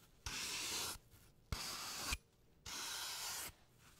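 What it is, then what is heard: Floral foam block being scraped. A blade tool scrapes a hand-sized, solid green floral foam block carved into a rounded brain shape and held in a latex-gloved hand. Three separate, steady scraping strokes give a dry, bright, hissy rasp with little low end, with short quiet pauses between them.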